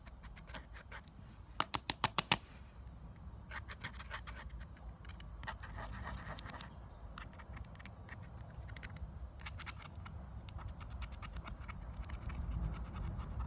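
Long nails scratch across the pressed powder pans and plastic dividers of a clear plastic eyeshadow palette held in the hand. Bright, dry scratching strokes come in irregular bursts, with a quick run of five sharp clicks early on, over a soft low rumble.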